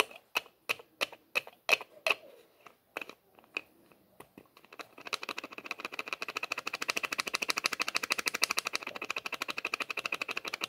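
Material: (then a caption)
Plastic. A small clear plastic bottle with a white label and white plastic screw lid is held horizontally while fingers twist and rattle the cap on its threaded neck. About five seconds of sharp, separate bright clicks speed up into a rapid, steady stream of fast clicking.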